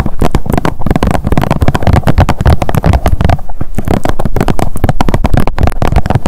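Long nails rapidly tap and scratch the surface of a blue plastic sunscreen squeeze tube. The result is a fast, steady stream of short, dull, low thuds with quick decay and little brightness.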